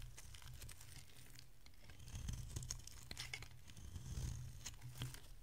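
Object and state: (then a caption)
Bar soap being shaved with a blade. A solid, rounded bar of dry pink soap held in the hand is shaved into curls with a metal utility blade. The result is a run of soft, crisp scraping and crinkling strokes with bright, quick clicks, over a steady low hum that swells slightly with the firmer cuts.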